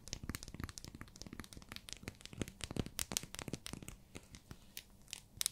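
Long fingernails tap and scratch a small, solid, pink translucent glycerin soap bar wrapped in clear plastic. Quick, irregular, sharp clicks mix with bright plastic crinkling and scratchy rustle. There is a dull low thud under the taps, and each one stops almost instantly.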